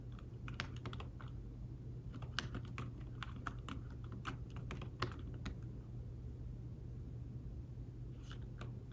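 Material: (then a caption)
Fabric. Fingertips type on a thin folio keyboard with fabric-covered keys attached to a tablet, making soft, quick tapping clicks with a bright edge in an irregular stream. The taps are short and dry over a steady low hum, with a few slightly harder strokes standing out.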